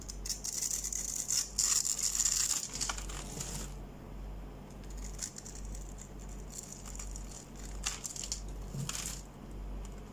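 A utility knife blade cuts a hand-sized, solid light green bar of soap with dark green stripes into small cubes that crumble off. Crisp, bright scraping and crackling is loudest in the first few seconds, then gives way to softer, scattered crumbling ticks over a steady low hum.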